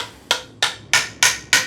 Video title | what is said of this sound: Fan Demanded - Dungeon Tour 2022 + Aircraft + Plane Storage + Stand Build | You can hear the difference. It's a very obvious pitch change.